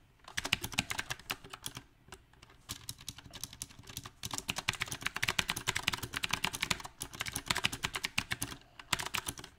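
A compact backlit mechanical keyboard with round plastic typewriter-style keycaps is typed on with the fingertips of both hands. Bursts of quick, bright, dry clicks come at an uneven pace, broken by short pauses.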